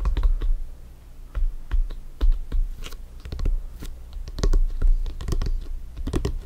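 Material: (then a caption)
Synthetic leather. Fingertips and nails tap and scratch the panels of a full-size blue stitched synthetic-leather soccer ball, hollow and inflated, resting on a black surface. Quick, irregular clicky taps land over a dull, low hollow thump, each dying away almost at once, with faint scratching between them.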